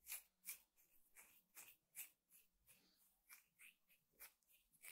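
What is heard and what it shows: Fingertips and short nails scratch and pluck at the coiled weave of a thin, flat, square woven rattan trivet or table mat with a solid weave, lying on a table. A quiet run of short, dry, bright scratchy bursts repeats at an uneven pace, each fading almost at once.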